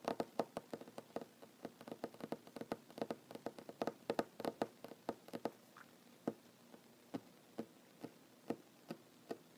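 Short fingernails of one hand tap rapidly on a large, solid wooden tabletop, giving dry, quick-decaying knocks with a midrange tone. The taps come in a dense, quick flurry at first, then thin out into evenly spaced single taps toward the end.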